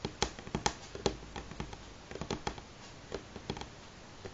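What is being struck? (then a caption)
Wooden tabletop. Fingernails tap on a solid light pine tabletop in a rhythmic, galloping pattern, giving about sixteen quick, dry clicks with a bright edge. Each tap dies away almost at once, and the bursts come in uneven clusters with brief pauses between them.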